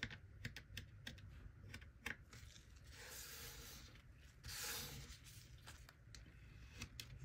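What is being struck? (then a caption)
Kinetic sand block cut with a plastic knife. A small plastic knife held in a gloved hand slices and scrapes a small, solid mound of golden kinetic sand resting on a wooden-look table. Quick, crisp, crumbly ticks and cuts are broken by two longer, brighter scraping hisses near the middle, over a faint low hum.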